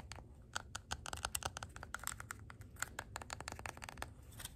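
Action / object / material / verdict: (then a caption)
tap / wax-filled glass candle jar / glass / none. Long gold acrylic nails tap and scratch a red glass candle jar filled with wax, held close, including its labeled bottom. A quick, irregular run of sharp, bright clicks mixes with dry scratching, each tap dying away instantly with no ring. The sound is quiet and close.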